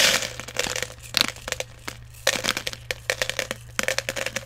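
Fingers dig into and stir small plastic airsoft BBs in a clear plastic jar that is partly full. Bursts of bright, dry rattling clicks come in quick clusters separated by short pauses, with each click ending almost instantly over a faint steady low hum.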